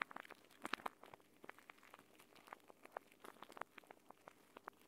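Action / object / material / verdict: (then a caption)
scrape / plastic pouch of gel beads / plastic, gel / none. A clear plastic gel bead eye mask, a pouch filled with green gel beads, is held in both hands and squeezed and rubbed with fingertips and nails. It gives a quiet, rapid string of short, sharp clicks and soft wet pops, with bright crackling tones centered around 1.2 kHz and almost no low end.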